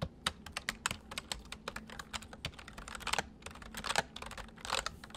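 Both hands type with their fingertips on a full-size white plastic mechanical keyboard with white keycaps, resting on a wooden desk. A rapid, uneven run of short, bright clicks follows, each keystroke dying away almost instantly, with a faint low hum underneath.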